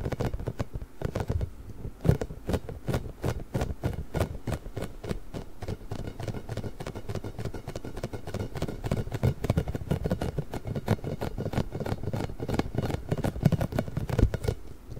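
Fingernails of both hands scratch and rub a large pink hollow inflated rubber ball covered in nubs. A dense, steady stream of quick scratchy taps and soft, low, hollow thumps keeps going throughout, each dying away almost at once.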